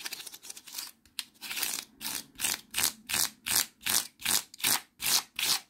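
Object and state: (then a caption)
Honeycomb cardboard sheet. Fingertips tap and scratch the face of a light, flat brown honeycomb-core cardboard panel with hollow cells, and strum along its exposed honeycomb edge. A quick, irregular flurry of dry, scratchy taps gives way to a steady run of separate, bright, hissing strokes with short silences between them. Each stroke stops dry, with almost no ring.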